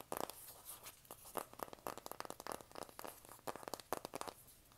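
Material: Cardboard.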